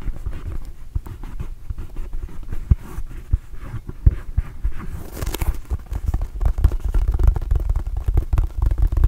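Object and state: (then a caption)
Rubber mini basketball. A red and blue Arizona rubber mini basketball, hollow and inflated, is held and tapped with fingertips and palm. It gives a rapid, irregular patter of soft, dull, low thumps that die away almost instantly, with a brief brighter scratchy brush near the middle. The tapping grows denser and slightly louder toward the end.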